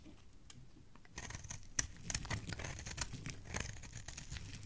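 A solid pink bar of soap held in the hand is carved with a metal blade, shaving off pink curls. Quiet at first, the sound turns into a dense run of bright, dry scraping and crackling strokes at an irregular pace, with no ring after each cut.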